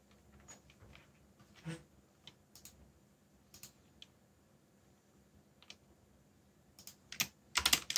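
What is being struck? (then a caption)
Mechanical keyboard with plastic keycaps. Fingertips press keys on a backlit mechanical keyboard with plastic keycaps in sparse typing: quiet, bright, short clicks separated by pauses. The clicks grow louder and come faster in a dense burst at the end.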